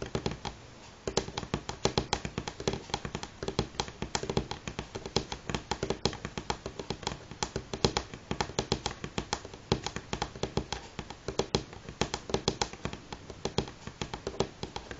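Fingernails from both hands tap in fast rolling patterns on a solid, light wooden table top. The result is a dense, continuous stream of short, dry clicks with a woody tone around 390 Hz and a bright edge. Each tap dies away almost instantly, and there is a brief pause near the start.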